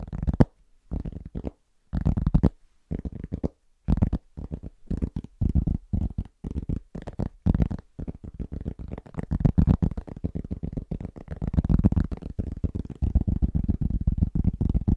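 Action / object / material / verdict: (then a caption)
tap / round cork trivet / cork / none. Fingertips of both hands tap rapidly across a large, round, flat, solid cork trivet. The result is dull, low, muffled thuds with no ring, coming in short rhythmic bursts separated by brief pauses, then running together into a denser, steadier patter in the second half.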